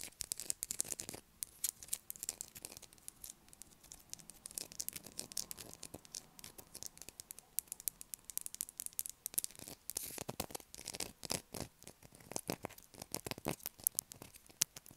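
A light blue solid bar of soap held in the hands is scratched with long black acrylic nails, dropping shavings onto the table. Dense, quiet, bright scratching clicks come in rapid bursts throughout, with very little low end.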